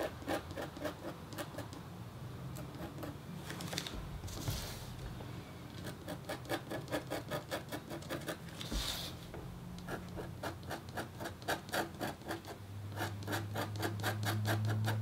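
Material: Copper foil.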